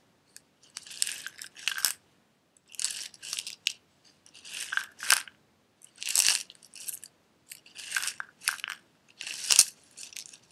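A small clear glass jar with a silver metal lid, filled with loose red pieces, is held sideways, tilted and tapped with fingernails. Bursts of bright, crisp rattling come in irregular clusters as the contents shift and clatter against the glass, with sharp tapping clicks in between.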